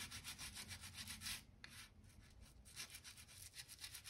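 A stiff-bristle crevice brush, held in the hand, is scrubbed along the gap between oak floorboards on a solid wooden plank floor. Rapid back-and-forth strokes make a bright, scratchy bristle hiss with a soft low rumble underneath. The scrubbing eases briefly in the middle, then picks up again.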